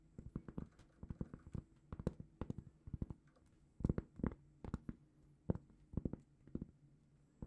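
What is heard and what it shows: A large, flat, solid round cork trivet is held in both hands and tapped and scratched with long painted fingernails. Quiet, dull, low-pitched taps with almost no ring come in quick irregular clusters, with faint soft scratching between them.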